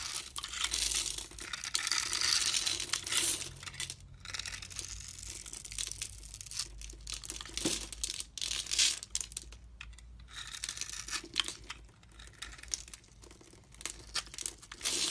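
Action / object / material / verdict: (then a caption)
scrape / soap bar / soap / none. A utility knife scrapes grid-cut cubes off a solid blue and white striped soap bar held in the hand. Dense, crisp crumbling and crunching scrapes run throughout, bright and high with very little low end. Short breaks fall between some of the passes.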